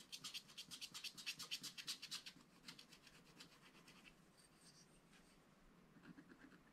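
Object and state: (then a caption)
Scratch-art paper being scratched with a stylus. A wooden stylus scratches and rubs the black wax-coated surface of a scratch-art paper page, working on a puffer fish drawing. A quick series of bright, dry scratching strokes starts loud, then fades into softer, steady rubbing that continues to the end.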